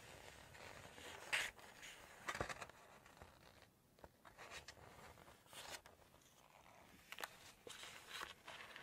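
A single glossy paper page from a Chinese cookbook is held up and flexed while long nails tap on it, and then the page is turned. Soft, bright crinkling and rustling fills the clip, broken by sharp crackly taps and louder snaps of paper, with brief quiet stretches in between.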